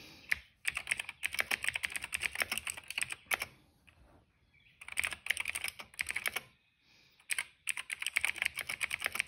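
Fingertips type steadily on the black keycaps of a plastic retro mechanical keyboard, producing bright, rapid, clicky keystrokes centered around 2 kHz. The typing comes in three bursts separated by short quiet pauses, and each click is dry with almost no ring.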